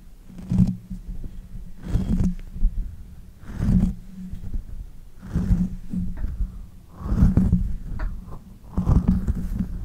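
Long-nailed fingers rub, scratch and grip the hollow bare metal mesh grille of a pink condenser microphone. The result is deep, muffled rumbling swells and thumps, heavy in low bass, repeating at an uneven pace with faint, brief scratchy streaks between them.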